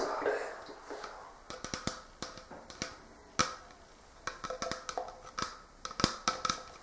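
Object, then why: Plastic ice cream jar with screw lid. An empty, hollow, clear plastic Talenti gelato jar with a black plastic screw lid is handled and turned with a soft rustling scrape. Then the lid top is tapped with fingertips and short nails in a string of quick, dry, hollow clicks that die away almost at once.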